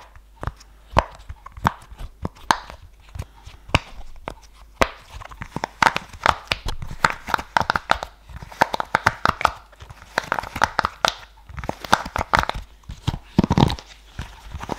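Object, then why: Silicone pop-it fidget toy. Fingertips press and pop the hollow bubble domes on a large, flat purple silicone pop-it fidget toy held close to the microphone. Many short, dry pops and clicks come in an irregular stream, with a hollow midrange tone and almost no ring after each one.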